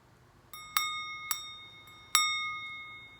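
A small polished cut-crystal cupped dish with a crossed diamond thatch and fan design is flicked or tapped about four times, each tap giving a clear, bright bell-like ring around 1.2 kHz with high overtones that hangs on and fades. The clear ring marks it as genuine, sound crystal, a beautiful piece.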